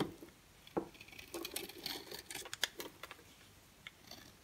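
An orange-and-white striped bar of dry solid soap is held in the hand and shaved with a box cutter blade, with orange shavings piling up below. The sound is a quiet, irregular series of crisp, bright scraping strokes and short dry ticks that stop abruptly, with no ring.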